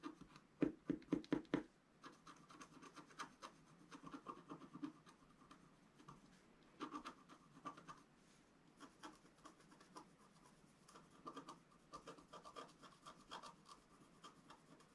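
A wooden stylus scratches small details near the right edge of a flat, black-coated scratch-art sheet, about A4 in size, resting on a table. A cluster of sharp, loud scratches opens the clip, followed by softer, short, dry scraping strokes in intermittent bursts with a midrange rasp and little ring.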